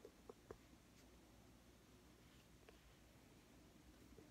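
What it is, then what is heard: Plastic squeeze tube tapped with fingernails. A small white and teal plastic squeeze tube of BB cream, hollow and likely partly full, is held in one hand and tapped and scratched with long manicured fingernails. Three quick, dull, hollow clicks come close together at the start, followed by faint scratching and a couple of softer taps. All of it sits over a quiet, low background hum.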